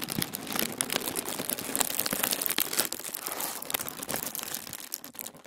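Flat palms and fingertips rub a crinkled sheet of thin white tissue paper spread on a wooden table. The result is a steady, bright crinkling and rustling made of dense, quick crackles with almost no low end, easing slightly softer toward the end.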